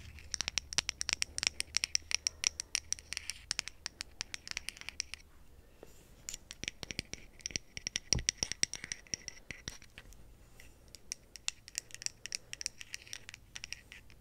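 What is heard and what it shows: Long acrylic nails scratch the wooden back of a small, solid wooden-backed brush with pale bristles, held close to the microphone, and run over its bristles. The result is a dense run of rapid, bright, dry scratching clicks and crackles that stop briefly in the middle, then return in lighter, sparser bursts.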